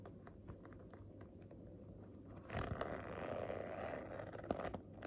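Long fingernails tap and scratch the surface of a medium zippered clear PVC vinyl makeup bag with black trim, held up and handled, with makeup items such as pencils and a sponge inside. Soft, quiet ticking taps for the first half give way to a louder, steady crinkly scraping and rubbing of the vinyl, with a few sharper clicks near the end.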